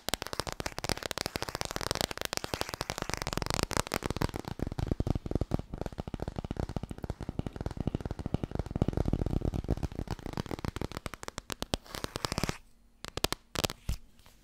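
Long nails tap and scratch rapidly across the cover and edge of a small, solid laminated cardboard board book. A dense, continuous stream of short, dry clicks with soft scraping runs for about twelve and a half seconds, then thins out to a few scattered taps before ending.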